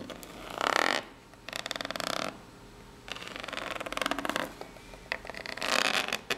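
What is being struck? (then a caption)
Corrugated cardboard box. Long polished nails tap and scratch the ribbed top and side of a small, hollow, brown corrugated cardboard box. Bursts of dry, bright, rasping scratches alternate with rapid clicking ticks, separated by brief quiet pauses. The box adds a slight hollow ring.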